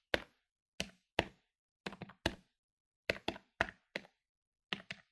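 A medium-sized plastic electronic desktop calculator lies on a wooden table while its plastic keys are pressed rapidly with fingertips. Thirteen short, dry, bright clicks come in uneven bursts, some in quick pairs, each dying away almost instantly.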